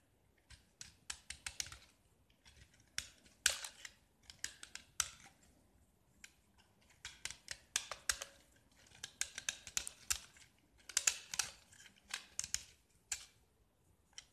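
A metal utility knife blade scrapes and carves a small solid gypsum block painted orange in a grid pattern. The result is quiet, dry, bright scratching and crunching strokes in quick clusters, each dying away almost instantly, with pauses between the bursts and almost no low end.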